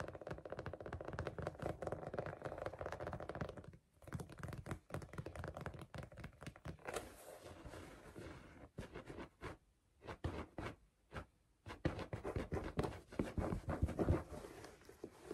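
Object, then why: Small tufted fabric rug. A small red, green and pink tufted fabric strawberry rug, soft, thin and solid, lies on a lap while long nails and fingertips scratch and tap its tufted pile. The result is fast, irregular, muffled tapping and scratching with a dull, low thud, broken by a few brief pauses.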